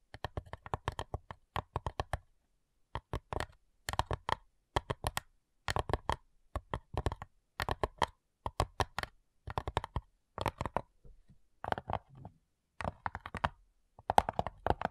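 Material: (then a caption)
Wood. Long nails tap and scratch on the printed lid of a small, flat, light, hollow wooden box. Quick, dry, clicky taps come in short bursts separated by brief pauses, with a hollow knock and almost no ring.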